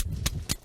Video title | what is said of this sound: 밥상위의 자산어보 굴과 꼬막 어영차 바다야 | 차돌 소리가 딱딱딱딱 이런 소리가 나야 돼